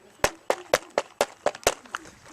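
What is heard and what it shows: Knocking on a plastic car interior panel treated with butyl sound-deadening mat produces nine quick, dull knocks that die away almost instantly. The deadened panel gives a pretty quiet surface that should prevent rattles and make for a better-sounding system.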